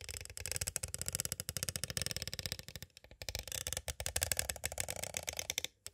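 Two green plastic stick tools tap rapidly on a small, hollow, clear plastic cassette tape case, making a dense stream of dry, bright clicks with almost no ring. The tapping pauses briefly near the middle, then resumes just as quickly before stopping at the end.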